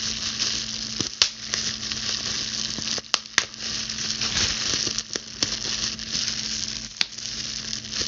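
A clear plastic bubble wrap sheet held in both hands is squeezed and popped with long blue nails, crinkling the plastic. A constant bright, hissy crackle runs throughout, broken by sharp, loud pops of bursting bubbles, with a faint steady low hum beneath.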